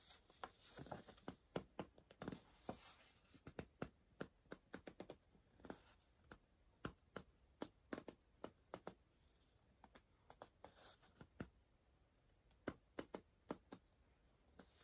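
A pencil tip scratches and taps across the printed page of an open softcover paper word-search book resting on a pillow, while the other hand holds the book. The result is a quiet, irregular run of short, dry taps and scratchy strokes, each dying away almost instantly, with a soft low thump under a brighter papery scratch and brief pauses between bursts.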